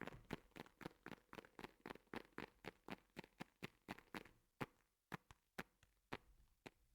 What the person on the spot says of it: make a very nice gentle and equally squidgy sound